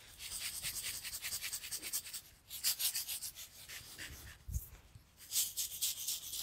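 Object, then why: Glass bottle partly filled with sand. A tall clear glass bottle with a cork stopper, partly filled with pink sand or salt, is held in one hand, tilted and shaken so the grains slide while long nails rub the glass. The result is a bright, hissy rasping in quick rhythmic pulses that swell and fade, with one short dull thump midway.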